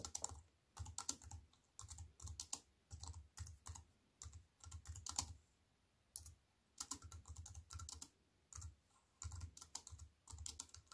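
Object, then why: Plastic computer keyboard with metal frame. A compact plastic computer keyboard with black plastic keys on a silver aluminium frame is typed on with fingertips and long white nails. Quick bursts of bright, crisp key clicks, each with a soft low thump, come in runs separated by short quiet pauses.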